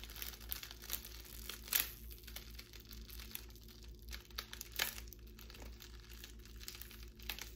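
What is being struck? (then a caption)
Plastic bubble wrap. A twisted strip of clear plastic bubble wrap, held between both hands, is pulled and crinkled with long nails. It makes a soft, bright, continuous crinkling with scattered crackles and a couple of sharper louder crackles near 1.8 and 4.8 seconds. A steady low hum sits underneath.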